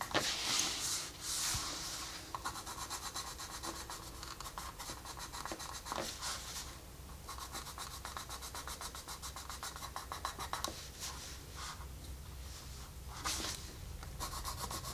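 A colored pencil rubs and scratches across a flat paper coloring book page near the wolf's eye. It makes a steady, bright, papery scratching with rapid back-and-forth strokes, occasionally broken by a few louder sweeping swishes. A faint low hum stays underneath throughout.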